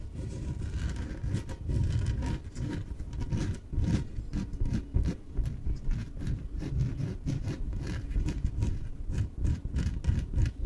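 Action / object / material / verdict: scrape / inflatable PVC exercise ball / PVC / none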